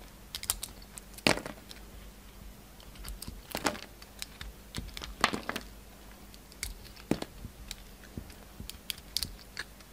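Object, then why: Bar of soap cut with a utility knife. A solid pink bar of soap has its purple rim and outer layer shaved away with a yellow utility knife. Short, irregular scraping and cutting sounds come and go, some sharp and crisp with bright high edges, over a quiet steady background.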